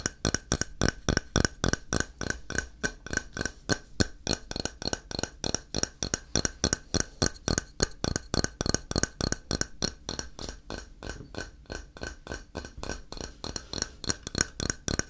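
Fingernails tap and scratch the edge and face of a solid grey ceramic tile held at an angle near the mic. About 59 quick, dry clicks come at an uneven pace, each one short with almost no ring, and softer scratching sounds fill the gaps between them.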